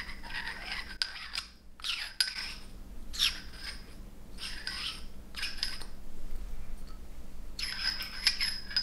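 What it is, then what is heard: Glass stopper clinked in a glass bottle neck. A frosted glass stopper is twisted and clinked in the frosted neck of a glass bottle. The result is short bursts of bright, gritty glass-on-glass scraping, with sharp high clinks that die away almost instantly, over a faint low hum.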